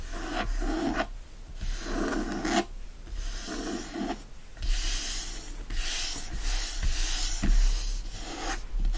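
Fingertips and short nails scratch a closed teal cloth hardcover book with gold foil lying on a fleece blanket, and both flat hands, one wearing a ring, rub its cover. Repeated rasping, brushy strokes rise and fall over a steady low rumble, with a soft hiss extending into the high range.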